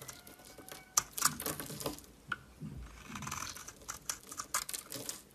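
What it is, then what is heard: Bar of soap being shaved. A solid Dalan bar of soap with a gold coating and a green core, held in the hand, is shaved with a metal utility knife blade. The clip is a rapid, irregular series of dry, crisp scraping and crackling cuts, mostly bright and high in tone with little low end. Short sharp snaps stand out between softer, gritty shaving strokes.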